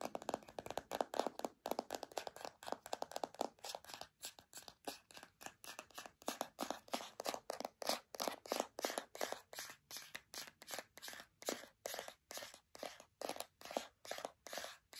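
A white plastic deodorant stick container is tapped and scratched with long nails along its side and bottom. Quick, dry, scratchy bursts repeat steadily, each dying away almost instantly, with a bright mid-to-high texture and no low end.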